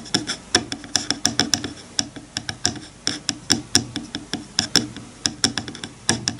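Fingertips rub and scratch along the teeth of a wide-toothed bamboo hair comb lying on a bamboo cutting board. About thirty quick, dry, bright ticks and clicks come in uneven bursts, each dying away almost at once over a soft scratchy hiss.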